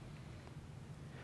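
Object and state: Nothing is struck.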